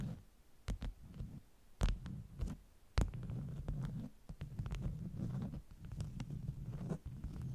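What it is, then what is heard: Beeswax wrap stack. Long nails tap and scratch the top sheets of a stack of flat beeswax-coated cotton wraps. Soft, muffled, low thuds and rustling scrapes run throughout, broken by a few sharper, brighter clicking taps.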